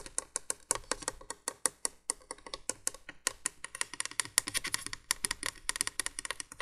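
Long nails tap and scratch rapidly on the hollow cream plastic base of a 1980s window candolier light lying flat. The result is a dense run of short, dry, bright clicks with scraping in between and no ringing after each tap.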